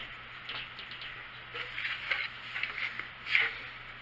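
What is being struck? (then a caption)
Paper coloring book page. A colored pencil held in the hand scratches and rubs across a printed paper coloring book page lying flat on a wooden table in steady coloring strokes. The sound is a quiet, bright, papery scratching with soft swells as each stroke presses harder.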